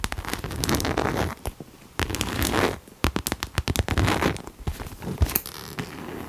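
A pink cherry-print coated canvas Coach crossbody bag is held upright while long nails scratch and tap along its side and front. Quick, crisp scratches and sharp taps land in close bursts, with a dull, hollow body to each tap. Brief quiet pauses separate the bursts of scratching.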